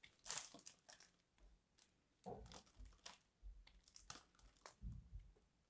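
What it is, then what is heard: Bar soap being scraped into flakes. A small metal blade scrapes and cuts into the carved face of a solid, hand-sized purple bar soap held in one hand, breaking it into crumbly flakes. Repeated bright, dry scratching and crunching bursts come in quick succession, with a soft low crush under some strokes. Each sound stops almost at once.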